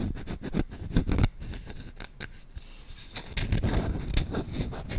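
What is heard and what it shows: Short fingertips scratch fast across the bowl of a solid wooden spoon, making rapid, dry, scratchy strokes with a dull low body and little ring. The scratching is loud and busy at first, drops to a softer, quieter rubbing in the middle, then picks back up into dense, vigorous scratches.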